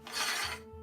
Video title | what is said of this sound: Reaper: The Beasts in Men - Campaign LAUNCH Stream! | this has such a nice shing sound. You hear that? It rings.